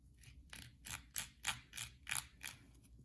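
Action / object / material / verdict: scrape / soap bar / soap / none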